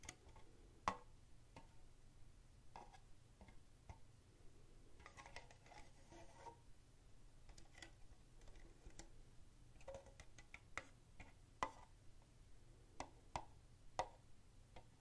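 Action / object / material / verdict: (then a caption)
tap / thin plastic cup / plastic / none. An empty, hollow red plastic party cup with a white rim is held in the hand and tapped with the fingertips. It gives a string of short, dry, clicky taps with a hollow ring around 1.1 kHz that dies away almost instantly. The taps sit quietly over a steady low hum.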